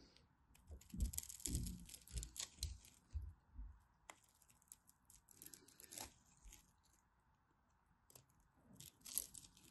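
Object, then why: Bar of soap. A solid blue-and-white striped bar of soap, held in a hand with long white nails, is scraped and carved with a small craft knife, and flakes fall onto a pile of soap shavings. Soft, bright, crunchy scrapes come in uneven bursts with low thuds, over a steady faint hum and quiet pauses between strokes.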